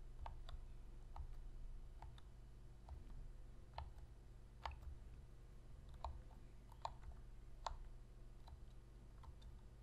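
Long fingernails press the d-pad and tap the body of a black, hollow plastic PlayStation controller. The result is soft, dry, short clicks and ticks with a mid-range knock and brief bright edges, scattered irregularly over a steady low hum.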